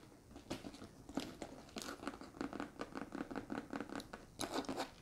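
Long red nails scratch and tap the flat side of a large, structured, hollow brown leather handbag with a leather handle and metal ring, held up in the air. Quiet, dry, crackly scratching comes in short uneven bursts with a hollow mid-low body. Each stroke ends almost at once, with no ring.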